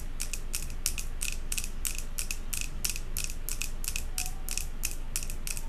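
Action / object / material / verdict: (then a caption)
tap / glass jar candle filled with wax / glass / none. Long acrylic nails from both hands tap rapidly on the glass front of a large jar candle filled with solid white wax and topped with a metal lid. The result is a fast, slightly uneven run of sharp, bright clicks that die away almost instantly, over a steady low hum.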